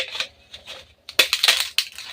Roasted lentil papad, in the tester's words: याचा सुद्धा कुरकुरीत आवाज येतोय